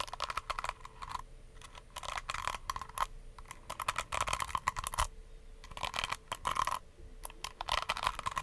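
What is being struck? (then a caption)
Plastic hair brush with plastic bristles. Long nails scratch and flick the white plastic bristles of a small, palm-sized pink plastic detangling brush and tap its plastic shell. Bursts of rapid, dry, bright clicking and crackly scratching come in short clusters separated by brief quiet pauses, with a faint steady tone underneath.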